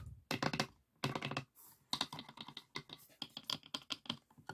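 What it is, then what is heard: Pine wooden box. Fingertips and nails tap rapidly on the dividers and walls of an open, empty, light pine wooden box with three compartments and a metal latch. The hollow wooden taps come in quick, dry bursts with a bright clicky edge, separated by brief pauses, and each tap dies away almost instantly.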